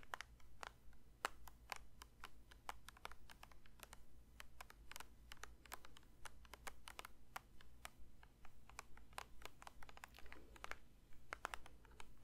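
A plastic lotion bottle is lightly tapped with the fingers, giving a quick, uneven run of soft, short clicks and taps. Each tap is dry and brief, with a bright edge over a steady low hum.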